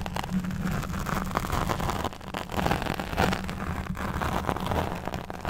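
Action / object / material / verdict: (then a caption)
scrape / foam microphone windscreen / foam / none. Long nails and fingertips of both hands scratch and stroke a soft, porous black fuzzy foam windscreen over a large USB microphone. The result is a continuous, muffled rumbling and brushing texture, heavy in the low end with almost no bright content, swelling and dipping as the strokes change.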